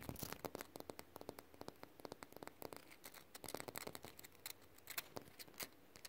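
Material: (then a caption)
Concrete. Fingertips and short nails tap and scratch quickly on a rough, solid, textured concrete surface. Dozens of dry, sharp clicks with bright scratchy edges come in an uneven rapid patter, each dying out almost instantly over a faint, quiet noise floor.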